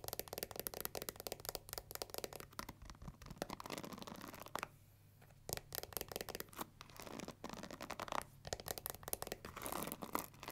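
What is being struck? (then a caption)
Plastic paddle hair brush with pins. Long nails scratch and flick across the black pins of a pink plastic paddle hair brush, then scrape along its plastic handle. Dense, crackly scratching and rapid bright ticks fill most of the clip, broken by a brief near-silent pause around the middle.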